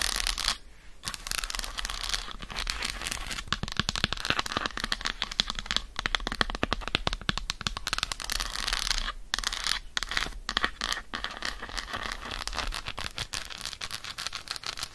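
Long acrylic nails rapidly tap and scratch the squares of an unwrapped, solid dark chocolate bar held in the hand. A dense, steady stream of crisp, bright clicks and scratchy rasps carries on throughout, with a few brief pauses.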